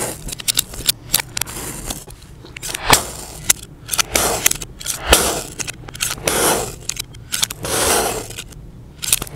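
A utility knife blade slices repeatedly into a solid, palm-sized, egg-shaped mound of yellow kinetic sand, with an untouched blue sand dome nearby. Crisp, bright crunching cuts and sharp short ticks alternate with longer grainy scraping swells. The sound is dry and close, with almost no ring after each stroke.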